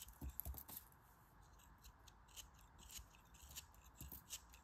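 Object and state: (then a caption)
Kinetic sand block being cut. A solid chunk of grey kinetic sand is held in the fingers and cut into crumbly slices with a metal craft knife. Soft, quiet scraping and crunching cuts with short bright crackles repeat over a steady faint hiss, with low thumps near the start.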